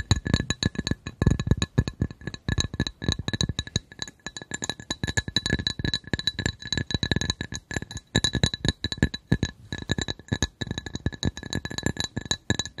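A glass coaster is tapped rapidly and continuously with short, dense clicks. Each tap lands as a dull low thump with brief bright clinks and a faint steady ring around 1.7 kHz and higher. The taps die away almost instantly.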